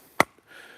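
A single sharp, hollow knock on firewood logs that have been seasoning in a wood lot over the winter. The crack is bright and very short, with a brief ring near 2 kHz, followed by faint background hiss. The hollow sound shows the wood is nice and dry.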